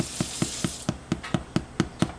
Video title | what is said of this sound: White Sandwich Bread | tap the top and you can hear that it's sort of hollow